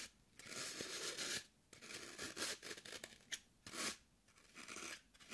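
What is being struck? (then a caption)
Floral foam block. Long nails scratch and poke the top of a solid, porous green floral foam brick, first resting on a table and then held in one hand. The result is bursts of dry, bright, crunchy rasping with almost no low end, separated by brief quiet gaps, and no ring after each stroke.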